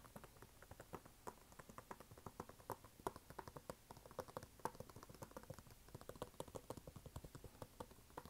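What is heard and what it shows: Fingernails tap rapidly on the canvas side and white rubber sole of a red canvas sneaker held vertically. The taps are quiet, short and dry, with soft muffled clicks and almost no bright edge. They patter continuously and unevenly for the whole clip.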